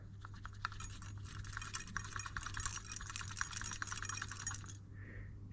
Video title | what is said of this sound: Solving my overboost problem on my 500bhp+ 1.8T swap MR2, and Thomas' OM605 5cyl swapped VW Crafter! | shaking it since something is rattling around in there